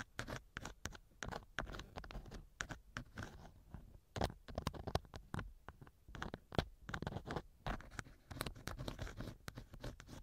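A thin wooden earpick scratches inside the left ear canal of a small, hollow silicone ear model mounted on a binaural microphone. The result is quiet, close-up scratching and crackling made of rapid, dense short ticks over soft, low thumps.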